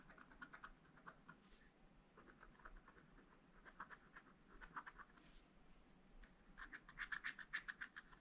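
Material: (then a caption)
Coated paper. A wooden stylus scratches and rubs the surface of a black coated scratch-art paper page in a spiral pad. Quiet, dry scratching comes in quick bursts of short strokes with a papery rasp centred around 1–2 kHz and a bright edge. Brief pauses separate the bursts, and the strokes grow sharper and louder near the end.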